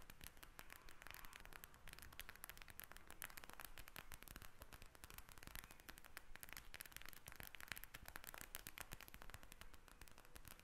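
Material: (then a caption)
Plastic. Long red nails tap rapidly on the plastic surface of a pink gel bead eye mask. The result is a quiet, steady stream of short, dry clicks and crackles with a bright, static-like texture.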